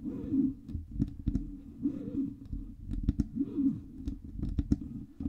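Long red nails tap the sides and front of a black Blue Yeti USB microphone with a hollow metal body. Quick, sharp clicks with almost no ring come in irregular bursts over a steady low rumbling hum with a warbling tone.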